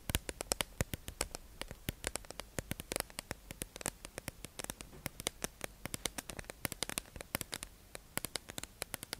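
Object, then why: Clear plastic tube package holding makeup sponges. A hollow, clear plastic tube-shaped package holding makeup sponges is held in the hand and tapped and scratched with long acrylic nails. A rapid, irregular run of sharp, dry, bright clicks sounds over a soft scratchy hiss, each tap dying out almost instantly.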